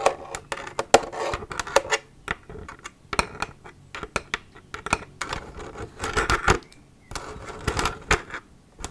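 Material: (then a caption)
Plastic. Long nails tap and squeeze an empty, hollow plastic milk jug held up in the hands. Quick, bright clicks and dry taps with very short ring come in irregular clusters, mixed with louder crinkling squeezes of the thin plastic.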